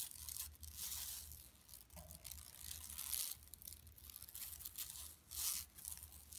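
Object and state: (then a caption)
Woven plastic mesh shopping bag. Long nails on both hands scratch a flat, empty yellow woven plastic mesh tote shopping bag lying on carpet. The result is quiet, bright, raspy scratching and crinkling that swells and fades in uneven bursts over a faint steady low hum.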